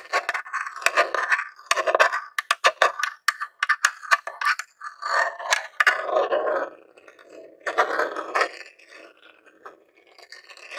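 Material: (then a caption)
Plastic. A jewelled metal claw nail taps and scratches the lid and vents of a grey plastic Nintendo mini console, a hollow box. Quick bursts of dry, clicky tapping alternate with rough, hissy scratching. The sound sits in the midrange with bright edges and very little ring, then trails off into quieter scraping toward the end.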